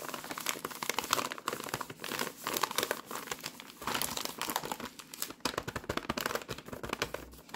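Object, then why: Paper-wrapped packet of rye crispbreads. A full, rectangular paper-wrapped Ryvita pack of rye crispbreads sits on a tea towel while fingertips with long nails rub, press and crinkle the printed wrapper. The result is a steady, dense run of dry, bright crinkling and crackling with short tearing-like rustles. The sound is thin in the lows and has little ring.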